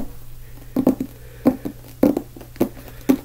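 Fingertips tap the cover of a small, solid, closed black hardcover book held upright in both hands. Soft, dull taps land in an uneven rhythm, some in quick pairs, each a short low-mid knock that dies away almost instantly over a faint steady hum.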